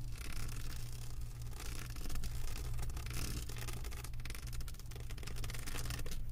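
Long white acrylic nails scratch and tap across the bumpy surface of a flat diamond painting canvas covered in plastic resin drills, resting on a table. Dense, quiet scratching and light tapping continue throughout over a steady low hum that carries most of the energy.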